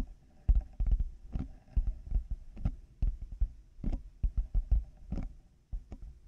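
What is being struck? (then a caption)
Plastic headphone earcups. Fingertips and nails tap on the hollow plastic shells of black over-ear headphones fitted over a 3Dio mic. They make a quick, irregular series of dull, deep thumps with a muffled, bass-heavy body and very short decay, punctuated by faint clicky edges.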